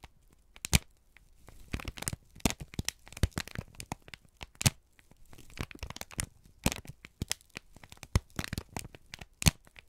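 A folded, crinkled sheet of brown kraft paper is held in both hands and squeezed and crumpled with the fingertips. Sharp, broadband crackles and crisp tearing-like snaps come in irregular bursts, with quieter rustling between them and no lingering ring.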